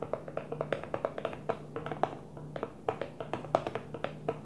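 Fingertips gently tap a Tupperware plastic food container in a quick, uneven rhythm. The taps are short, hollow clicks with a mid-range ring around 700 Hz, with a faint steady low hum underneath.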